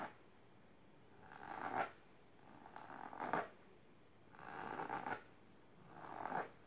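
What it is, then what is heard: Fabric-covered storage box being scratched. Long silver-painted nails scratch the fabric surface of a large pink patterned fabric-covered box or ottoman, rigid and likely hollow, lying on purple cloth. Four raspy scratching passes each swell up over about half a second and cut off sharply, with a midrange scratchy texture and quiet pauses between them.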